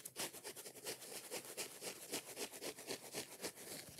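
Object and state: Foam kitchen sponge being scratched.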